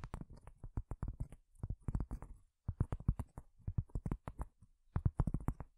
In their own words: 11:28 - tapping on cork